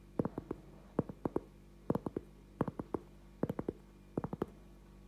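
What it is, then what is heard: Cork trivet, tapped. A thin, solid round cork trivet about 20 cm across is held up in both hands and tapped and scratched with the fingertips and short nails. Six short bursts of about four quick, dull, muted taps each are heard, with no ring after each tap and faint scratching between them.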